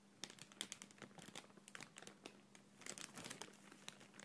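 A thin, empty, clear printed plastic bag is squeezed and crinkled with fingertips and long nails. The result is a quiet, continuous stream of sharp, bright crinkles and crackles over a faint steady low hum.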